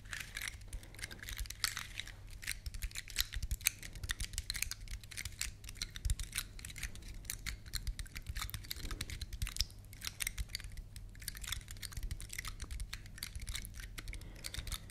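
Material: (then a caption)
Wood. Long nails scratch across the woody scales of a large, elongated, solid, dry brown pine cone. The result is a quiet, steady stream of rapid, dry, crackling clicks with a bright edge, over a constant low hum underneath.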